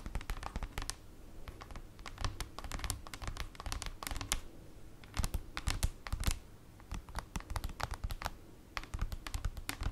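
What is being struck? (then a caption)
Printed cardboard folder. Long acrylic nails tap and scratch on a large, flat, black printed paper/cardboard folder lying on a table. Rapid, dry, clicky taps with bright edges and soft low thumps come in uneven bursts, mixed with short scratching strokes and brief quieter pauses. Each tap dies away almost instantly.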